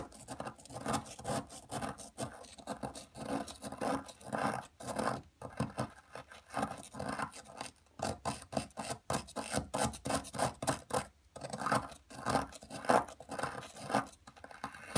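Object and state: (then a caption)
Plaster excavation block being scraped. A thin metal pick scratches and scrapes at a palm-sized solid blue plaster block from a gem dig kit, held on a dark table by a hand with long metallic nails, as blue powder builds up around it. Short, gritty rasping strokes come in a quick, uneven series of bursts, strongest in the midrange with a dry, brittle edge and very little low end.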